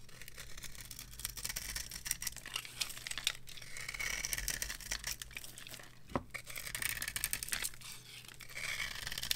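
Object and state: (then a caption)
Dry soap bar being carved. A small metal knife scrapes and carves shavings off a solid rectangular bar of dry soap with a gold-coloured embossed top, held in the hand. The result is a steady run of dry, crisp scraping and crackling strokes, bright and hissy, with short sharp peaks and no ringing. A faint low hum sits underneath.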